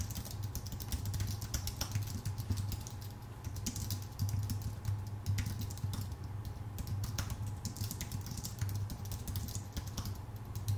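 A full-size white Apple Magic Keyboard with a numpad, its thin aluminium base and plastic keycaps resting on a dark desk, is typed on rapidly with the fingertips of both hands. Quick, dense clicking taps run continuously over a steady low hum.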